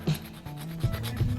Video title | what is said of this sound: How to replace your lead water main with a copper water main | it's quiet because it's soft kind of just scratches straight through